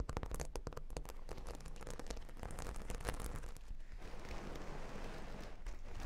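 Long nails scratch across a flat, solid cork board covered with plastic half-pearl stickers, and the board is repositioned by hand. Dense, quiet crackling and clicking scratches run over a heavy low rumble, easing into a smoother, steady scraping hiss in the second half.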